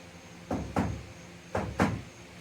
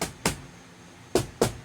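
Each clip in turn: First: Two pairs of knuckle knocks on a bare sheet metal panel give a brief, tinny, hollow clang. Second: Four short, dull knocks that stop almost at once: an insulated metal ceiling panel giving a damped thump.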